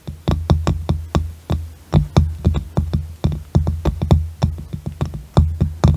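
Fingertips and nails of both hands tap and drum on the flat top of a light-coloured round wooden box lid sitting in front of a microphone. About 27 quick, separate taps sound with a deep, hollow thump around 82 Hz and a bright click at each onset. Each tap dies away quickly in an uneven, drum-like rhythm.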